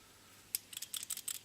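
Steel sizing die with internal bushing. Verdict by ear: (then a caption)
Loose. A steel bushing sizing die from a 17 Hornet Redding die set, its locking cap backed off slightly, is shaken so the bushing inside rattles. After a brief quiet moment there is a quick series of faint, sharp, bright metallic clicks. The rattle shows the bushing is loose and free-floating, as it should be, so it can self-center on the brass case during resizing.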